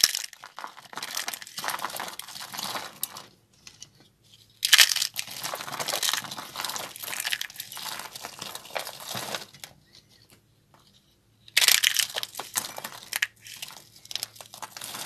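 A handful of thin, brittle, dry green soap shavings is squeezed and crushed between the fingers and palms of bare hands over a cut green soap block and a small bowl. Dense, bright, crackling crunches come in three long bursts, separated by short quiet pauses.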